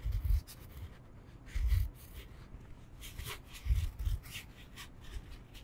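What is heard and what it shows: A solid rectangular foam yoga block, held upright in both hands, is tapped and scratched with fingertips and nails. Four dull, low thumps land between quiet stretches of soft, faint scratching. The taps are muffled and die away almost instantly, with no ring.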